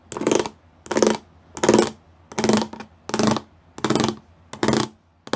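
Fingertips and nails tap the rows of small square pyramid studs on a flat grey plastic panel. The result is seven evenly spaced bursts of rapid, bright clicking, each with a hollow low tone around 220 Hz, and short quiet gaps between them.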